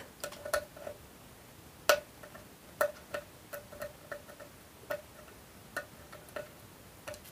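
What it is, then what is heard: Aluminium tin box tapped with nails. Long almond-shaped nails tap and scratch the flat lid of a small, hollow, rectangular brushed aluminum tin held in one hand. The irregular, quiet taps give short metallic clicks with a brief hollow ring around 600 Hz and a bright edge, separated by faint scratching against a low hiss.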